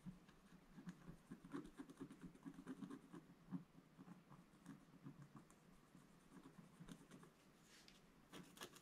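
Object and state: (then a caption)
Scratch-art paper being scratched. A wooden scratch stylus scratches short strokes into the black coating of a solid scratch-art page in a book lying flat on a table. It makes quiet, dry, scratchy pattering, mostly low and muffled, with a few sharper, brighter scrapes toward the end.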